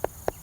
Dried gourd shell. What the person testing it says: you can tell they have a hollow sound to them